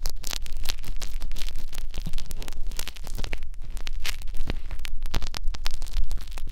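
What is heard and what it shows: Two thin metal needles on blue holders scratch in and out of the ear canal of a white silicone binaural-microphone ear. The result is a dense, continuous stream of close, crackly scratching with bright rasping streaks over a steady low rumble.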